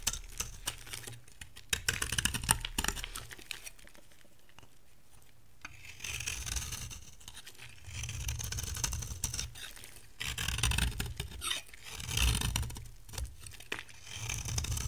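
A metal blade shaves curls off the surface of a dry brown bar of soap with a green shell, held in the hand. Dry, crackly scraping strokes with a bright, hissy edge repeat at an uneven pace over a low rumble. A quieter stretch in the middle gives way to louder bursts of shaving toward the end.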